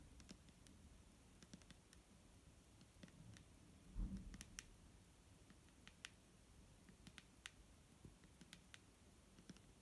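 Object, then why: Plastic bottle of liquid. Long nails tap the front and label of a large, clear plastic micellar water bottle that is full of liquid and held in the hand. The result is a scattered run of quick, light, bright clicks over a soft low rumble, with a louder, duller knock around the four-second mark.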